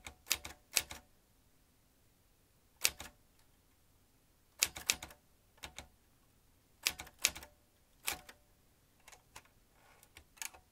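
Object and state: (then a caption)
Metal manual typewriter. Fingertips tap the keys of a vintage metal manual typewriter while its carriage moves across. Sharp, bright clacks come in irregular clusters of quick strikes separated by quiet pauses. Each strike is crisp with almost no low end and dies away instantly.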